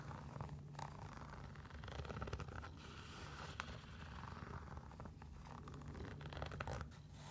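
A single hollow sneaker with a blue striped mesh upper and orange laces is scratched and rubbed with long nails across the upper and laces. The result is a steady, soft scratchy rustle with a low hum underneath and brief brighter scrapes scattered throughout.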